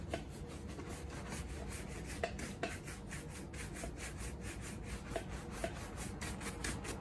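A horsehair brush with a wooden back scrubs the toe and vamp of a black leather Red Wing Iron Ranger women's work boot, worn on a foot and resting on a shoe-shine stand while the other hand holds it steady. Quick, rhythmic bristle strokes make a steady bright, raspy swish over a low rumble, with a few sharper knocks standing out along the way.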